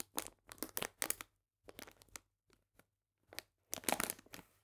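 A medium printed paper bag full of cane sugar is squeezed and crinkled with fingertips. Bursts of dry, bright crinkling and crunching come in separate clusters with short silent gaps between them, and each burst dies away almost at once.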